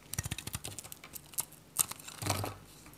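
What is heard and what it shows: A metal utility knife cuts and scrapes brittle flakes from a dry, varnished Godrej No.1 bar soap, a solid white bar with a purple rim held in the hand. A rapid run of short, dry, crisp clicks and snaps is heard, with two sharper bright cracks. It ends in a longer rasping scrape that fades out.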